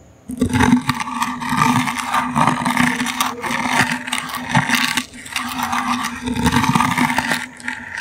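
A toothbrush's bristles scratch a small, hollow brown woven wicker basket held in the hand. The result is a dense, continuous dry scratching and crackling that rises and falls in bursts, with a faint low tonal hum running underneath.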